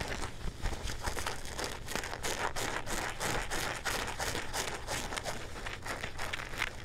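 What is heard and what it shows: Fingertips and nails scratch the fabric and back pocket of a pair of dark blue denim jeans held up in the air. A steady run of quick, dry rasping strokes with a bright crinkly texture sits over a faint low rumble, with each stroke fading almost at once.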